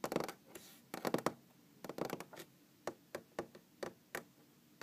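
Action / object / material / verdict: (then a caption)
tap / wooden tabletop / wood / none. Long green-painted fingernails tap and scratch a large solid wooden tabletop. Quiet, irregular clusters of quick, dry clicks and short scratchy strokes come first, then thin out into sparser single taps with almost no ring.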